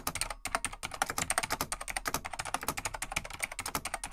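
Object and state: Vintage mechanical keyboard typing.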